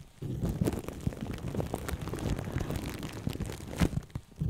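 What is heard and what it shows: Plastic cling film wrapped around the right one of two microphones is handled with both hands, as fingertips and long painted nails tap, scratch and squeeze the crinkly wrap. The result is a steady stream of close, dense crinkling and soft crunching, heavy in low thumps with faint bright crackle, and a few louder squeezes standing out.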